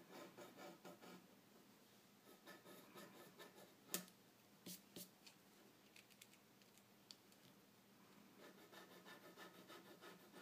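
A graphite pencil draws wave lines on a stack of white drawing paper resting on a dark table, making a soft, bright scratching and rubbing of the tip against the paper. Quick rhythmic strokes at the start and end frame a quieter middle stretch, broken by a few sharp, crisp ticks.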